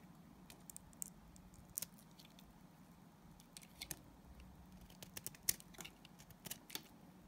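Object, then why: Glycerin soap bar scraped with a knife blade. A utility knife blade scrapes thin curls from a solid translucent yellow glycerin soap bar. The result is a quiet, irregular series of short, crisp, bright scraping clicks over a faint low hum.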